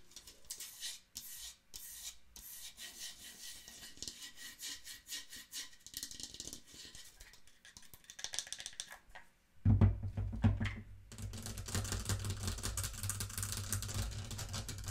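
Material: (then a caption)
Wood. Long nails rub and scratch a small hollow wooden mantel clock, working over the wooden case and the rim around its face while it is held in the hand, making quiet, bright, raspy scraping. The clock is then set on the table with a dull low thump, and the scratching continues louder, now carrying a deeper, hollow, booming resonance from the case.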